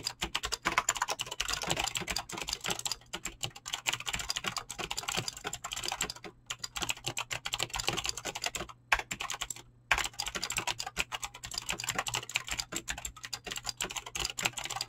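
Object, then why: Mechanical keyboard with plastic keycaps. Fingertips type rapidly on a mechanical keyboard with clicky green switches and PBT plastic keycaps, producing a dense stream of sharp, bright clicks that stop dead almost instantly. The typing runs nearly continuously, with short pauses near 6.4, 8.8 and 9.8 seconds.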